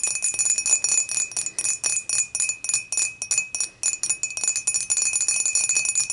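Long matte nails on both hands tap the sides of an empty, clear, dimpled glass beer mug, first tilted and then upright. A rapid, uneven run of bright, clicky glass ticks sounds, each dying away almost at once. A thin, steady ring hums underneath throughout.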